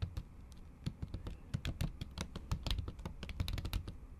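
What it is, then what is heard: Laptop keyboard under a plastic cover, typed with long nails. A MacBook keyboard under a thin pink plastic or silicone cover is typed on with long acrylic nails tapping the keys. About two dozen quick, dry taps come in an uneven stream, each a soft low thud with a short bright clack that dies away almost at once.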